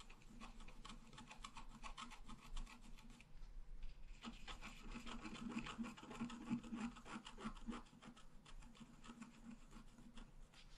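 A wooden stylus scratches flower and branch details into a thin scratch art paper sheet lying flat. Quick, dry, raspy strokes run in an uneven stream, with a brief lull near the 4-second mark before the scratching picks up again.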